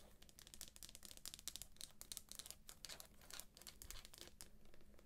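Long nails scratch and tap the cover and pink page edges of a thick, solid paperback book sealed in plastic shrink wrap. Rapid bright crinkling and scratchy clicks come in dense bursts over a faint steady low hum, each tap cutting off almost at once.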